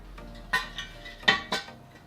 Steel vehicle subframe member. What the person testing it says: will the other side rattle? It looks like this, and there's no more rattle